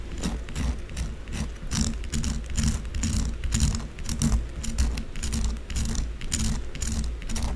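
A solid white bar of soap stands on its edge, held in one hand, while long blue acrylic nails rapidly scratch its narrow side. Quick, uneven bursts of bright, papery scraping repeat in a steady rush over a low, constant rumble.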